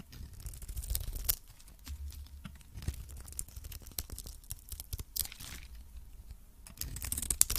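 A metal blade scrapes and cuts a cream-colored cube of varnished solid soap held in the hand, shaving it into curls. The sound is a run of dry, crisp tearing and crackling scrapes with bright, sharp edges over a low, muffled rumble, with brief pauses between strokes.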